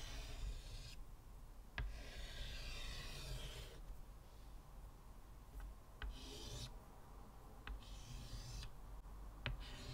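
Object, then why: Chalk on a wooden-framed chalkboard. Fingers scratch white chalk strokes across a flat, solid, square black chalkboard in a wooden frame and rub its surface with the fingertips. Bright, raspy scratching bursts alternate with quieter, duller rubbing over a low, steady rumble. Four brief sharp taps stand out along the way.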